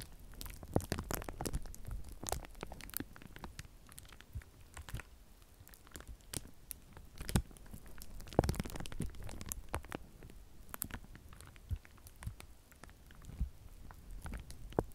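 A sheet of clear plastic bubble wrap held in both hands has its bubbles popped and rubbed with the fingertips. Sharp, dry pops and crackles are scattered over soft crinkling and rustling, with a few louder snaps standing out. The sound stays quiet and close, with a low, thumpy body and little ring after each pop.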